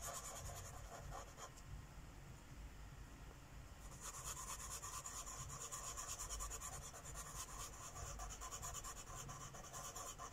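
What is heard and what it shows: A felt-tip Sharpie marker is rubbed repeatedly in short strokes across a thin paper coloring book page lying flat on a wooden table. The result is a soft, steady scratchy rasp with a bright hiss, growing louder and brighter after about four seconds as the strokes continue.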